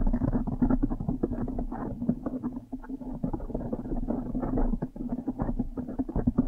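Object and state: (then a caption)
Foam microphone cover being scratched. A blue foam windscreen on a microphone is scratched and squeezed fast with long nails and fingers. The result is a dense, continuous run of muffled crackling and rubbing over a low hum centred near 250 Hz. The sound is dark, with almost nothing high or bright.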